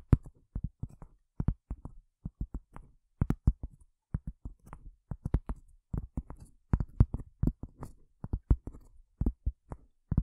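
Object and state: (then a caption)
Cork tapped with fingernails. Long fingernails tap on a cork surface in a quick, irregular series of soft, dull knocks. Each tap is a short, muffled thump carrying mostly low-frequency energy and dying away almost instantly, with faint, bright clicks on some of the strikes.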